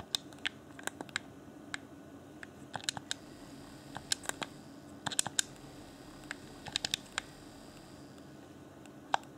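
A fingertip taps and clicks the buttons of a hand-sized, hollow, transparent plastic Xbox One Afterglow game controller. About two dozen sharp, bright, dry clicks come in irregular bursts, each stopping instantly with no ring, over a faint steady hiss.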